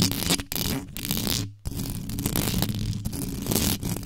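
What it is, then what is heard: Metal mesh microphone grille being scratched. Long yellow nails scratch fast and intensely across the hollow metal mesh head of a black condenser microphone, with no cover on it, working from the front and the top. The result is a dense, continuous rasping scrape with a heavy low rumble and bright hiss, broken by a brief near-silent gap midway before the scratching resumes.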